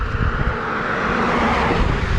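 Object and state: Nothing is struck.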